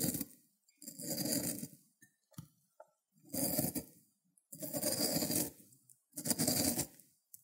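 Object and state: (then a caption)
Cucumber grated on a ceramic grater plate. A solid green cucumber end is rubbed on the spiky surface of a white ceramic grater plate. Five long, rasping scrape strokes are heard, each a broadband burst with a bright hiss on top, with a few small ticks and scratches between them.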